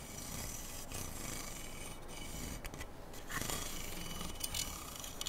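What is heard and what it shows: Fingertips and nails scratch and rub along the rail of a long, hollow, slotted metal handguard near the upper receiver of a black AR-style rifle held diagonally across a lap. The result is a steady, dry, rasping scrape with bright, hissy texture, broken by a few short, sharper ticks toward the end.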